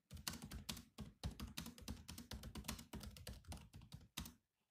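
Bare fingertips of both hands type fast on a grey laptop keyboard with black plastic chiclet keys in a metal-look shell. A rapid, uneven stream of short clicky taps with a low thump under each, bunching into quick bursts before stopping.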